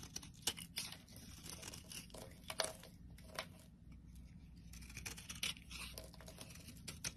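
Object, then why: Bar of soap cut with a metal blade. A solid green bar of soap held in the hand is scraped and sliced by a metal blade into flakes and chunks. Crisp, bright scraping and crunching cuts come in quick bursts, with several sharper cracks standing out over a steady low hum.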